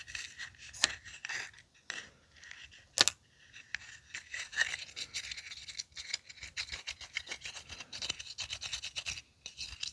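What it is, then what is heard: Aluminium tealight cup, scraped. A small, empty, hollow aluminium tealight cup held in one hand is scratched and scraped with the tip of a thin wooden orange stick. The result is a quiet, bright, dry rasping and scratching in irregular strokes, with a few sharper clicks standing out.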